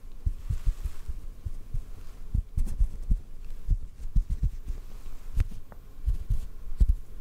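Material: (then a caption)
Cotton. A small, white, fluffy cotton piece, soft and solid, is held in the fingers in front of the microphone and tapped gently with fingertips and short nails. The taps land as soft, deep, muffled thumps at an uneven pace, resembling a faint heartbeat. A few are topped with faint bright clicks.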